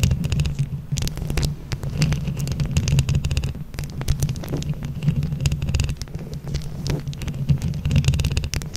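Long acrylic nails on both hands scratch across the small plastic flower buttons covering a microphone head over its metal mesh. The result is a dense, continuous, close-up rumbling scrape, heavy in the low end around 137 Hz, with quick clicky ticks and faint bright hiss layered on top.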